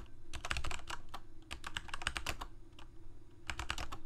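Fingertips of both hands type on a Corsair K68 full-size mechanical keyboard with plastic keycaps, Cherry MX Red switches and a backlight, resting on a desk. Quick bursts of sharp, bright plastic clacks centered around 1.6 kHz play over a steady low rumble. The strikes come in rapid runs, with short pauses near 1.4 seconds and between about 2.7 and 3.4 seconds, and each one dies away almost instantly.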